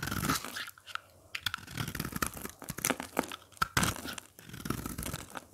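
A craft blade repeatedly scrapes and cuts flakes off the face of a dry, brittle red soap bar with a speckled surface, held in the hand, the flakes piling up below. Many short, dry crunching and tearing scrapes follow one another, some sharp and bright, between quieter gritty passages.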